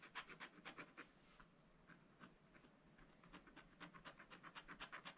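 A pointed wooden stylus, held in the right hand, scratches lines into a flat, thin page of a spiral-bound scratch-art book, black coated paper with a rainbow layer underneath, while the left hand holds the book. Quick, dry, bright scratching strokes come at about four per second, with a quieter stretch in the middle before the strokes pick up again.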